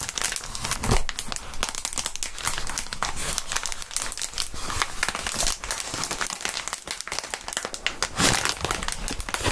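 Clear plastic bubble wrap is rubbed and crumpled by gloved hands and fingertips just above a mat. A continuous, dense crinkling with bright crackles fills the clip, with a few sharper bursts near the start and end.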